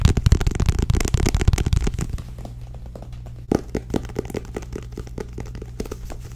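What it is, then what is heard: Paperback book tapped with nails. Long nails tap and grip the back cover of a small, solid paperback book with a purple and tan card cover. A rapid, dense run of dry clicks and crackly taps fills the first two seconds, then thins into softer, scattered taps over a steady low hum, with one sharper burst midway.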